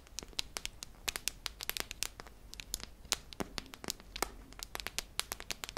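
Long nails tap and scratch along the body of a hollow silver metal tin with a red lid, held up in the air. The result is a rapid, irregular stream of short, sharp, bright clicks that stop instantly, with faint scratchy rustling between them over a low, steady background hum.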